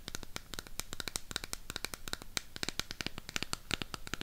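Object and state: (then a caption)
Cardboard eyeshadow palette. Long pink nails rapidly tap and scratch the back surface and edges of a burgundy Harry Potter cardboard eyeshadow palette. A dense, quick run of dry, bright clicks and scratchy rasps follows, each stopping almost instantly with no ring.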